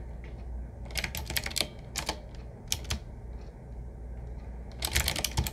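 A typewriter-style retro mechanical keyboard with round black keycaps set in metal rings on a wood-finish frame, medium size with a hollow case, is typed on with fingertips of both hands throughout. Bursts of sharp, bright clicky keystrokes come in clusters with short pauses between them over a low background hum.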